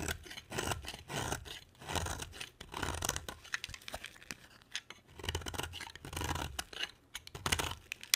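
A box cutter blade scrapes and carves a palm-sized solid orange bar of soap with stripes. Repeated dry scratching strokes with crisp, bright flaking clicks come in bursts, separated by short quiet pauses.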